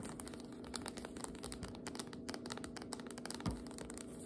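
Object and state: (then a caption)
Cardboard biscuit dough can with metal ends. Long nails tap and scratch on the label and metal end of a cardboard biscuit dough can with metal ends that appears full, first standing upright and then held tilted. The result is a quiet, rapid run of light clicks and brushy scratches over a faint steady low hum, with one slightly louder tap near the end.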